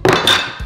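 A frozen banana, frozen solid like a hammer, is knocked twice on a surface, giving two hard, bright thunks with a short ringing tail. The banana is too hard to peel.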